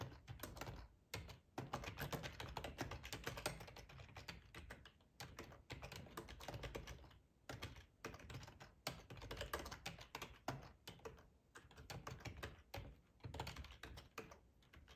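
Fingertips of both hands type on a full-size black plastic ergonomic split keyboard resting on a cloth tablecloth. A steady stream of rapid, short, dry key clicks with a soft low thump comes in bursts, separated by brief pauses.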